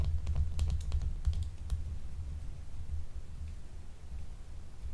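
Long nail tips scratch and tap a small, solid, translucent blue gemstone soap bar with a gold vein, unwrapped. Quick, bright clicks and ticks cluster in the first couple of seconds over a steady low rumble, then thin out to a few faint taps for the rest of the clip.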